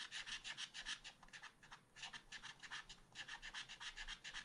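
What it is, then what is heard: Scratch art card being scratched. A wooden stylus scratches along the tail feathers drawn on a small black-coated scratch art paper card. Quick, rhythmic, bright rasping strokes come at about three per second, in three bursts separated by brief quieter pauses.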